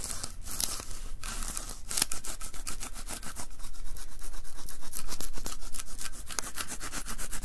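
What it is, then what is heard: Adhesive lint roller, sticky peeling. A white plastic lint roller with an adhesive paper roll is held upright while both palms press onto the sticky paper and peel away. The result is a steady run of soft rubbing and crackly, bright sticky peeling sounds, repeating about every quarter second and growing slightly louder toward the end.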